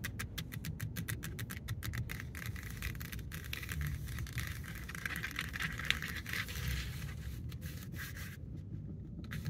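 Long acrylic nails and fingertips scratch and tap a black stitched faux leather cover wrapped around the steering wheel rim of a Dodge Charger. Quick, crisp clicking taps in the first couple of seconds give way to a steady bright scratching and scraping. A continuous low rumble sits underneath throughout.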